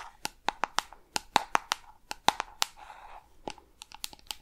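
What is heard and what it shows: A small, hollow, peach-pink round plastic jar with a screw lid is tapped and scratched with long red nails on its lid and sides close to the microphone. About 17 sharp, dry, irregular clicks with a hollow ring around 850 Hz are heard, with a brief soft scratching between them.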